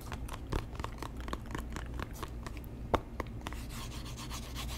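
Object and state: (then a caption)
Cardboard box scratched with fingertips. Fingertips rub and scratch the surface of a small hollow white cardboard box held in both hands. Quick, dry scratchy ticks and brushing strokes sit over a steady low rumble, with a couple of sharper taps standing out, near 0.5 and 3 seconds. A soft, bright hiss of rubbing thickens toward the end.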